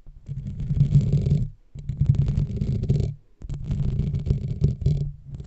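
A black foam microphone windscreen is scratched and gripped with the fingertips and nails of both hands. It makes a deep, muffled, rumbling scrape that comes in three bursts, each separated by a brief silence.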